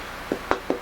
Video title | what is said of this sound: Sapele - Luthier Wood Review - Tonewood | the notes really jumping off of this